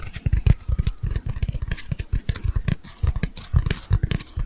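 A large, light-blue porous foam bath sponge, solid rather than hollow, is held close to a microphone and scratched, squeezed and rubbed with fingertips and nails. The result is a dense run of short, soft, muffled thumps and scrapes, heavy in the low end with faint airy scratching above.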